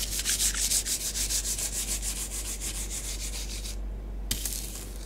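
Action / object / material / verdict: scrape / bath bomb powder on a flat tray / powder / none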